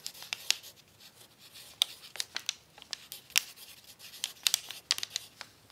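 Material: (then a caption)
Paper. A pencil tip writes on a crumpled brown paper sheet lying on a tablecloth, scratching and crinkling the paper as it moves. Short, dry, bright scratches and crackles pop out in quick bursts over a quiet, hissy bed, with almost no low end and no ring after each stroke.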